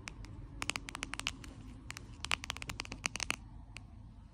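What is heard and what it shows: Long acrylic nails tap and scratch the surface of a flat, glossy pink plastic card holder with a Marie cat print, lying on a white sheet. A quick, uneven run of sharp, bright clicks and scratchy ticks, centred around 2.6 kHz, dies away instantly. It plays over a faint low rumble and soft hiss.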